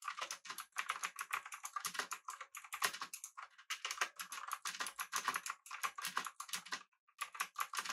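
Fingertips of both hands type rapidly on a full-size, backlit, typewriter-style mechanical keyboard with blue switches, an aluminum body, and round plastic keycaps, set up as a solid desktop device. A dense stream of sharp, bright clicks centered near 1.9 kHz rattles along with almost no low end, each keystroke decaying quickly. There is a brief pause just before the 7-second mark, and then the typing picks back up.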